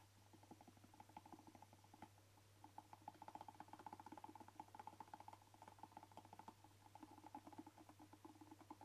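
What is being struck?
Hollow rubber air blower bulb.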